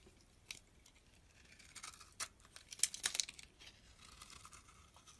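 A metal utility blade scrapes a solid, palm-sized pink oval bar of soap, peeling off long flakes. The quiet, bright, crinkly rasps come in uneven bursts, building to a cluster of sharper scrapes in the middle before easing off.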